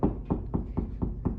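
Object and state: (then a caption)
Drywall sounding solid over a stud. Knuckles knock six times in a steady rhythm on drywall over a wood stud. Each tap is a short, dull, low thud with almost no ring and no high-frequency content. The knocks sound solid, which marks where the stud sits behind the wall.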